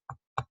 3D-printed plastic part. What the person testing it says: it makes it super strong and you can hear it when I tap it it's pretty solid